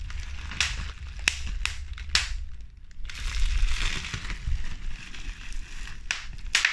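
A crumpled sheet of clear plastic bubble wrap with hollow air bubbles is squeezed and crushed between fingertips with medium pink nails. Sharp, bright pops snap out over a continuous crinkly rustle and low rumble, popping the bubbles.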